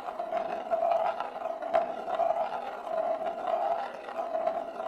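A single glass marble rolls in circles on the inner surface of a large, shallow, hollow bamboo plate held empty in both hands. The result is a continuous mid-pitched hollow rumble, centred near 640 Hz, that rises and falls in regular waves as the marble circles, with a few sharper ticks where it bumps.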